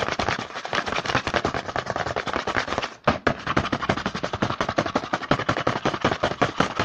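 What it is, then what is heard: Cardboard snack box, tapped and scratched. Fingertips rapidly tap and scratch across the front of a small, hollow, apparently full printed cardboard Hanuta Riegel 5x snack box held in the hand. A dense, fast run of dry, papery clicks and scrapes continues throughout, with a brief pause near the three-second mark.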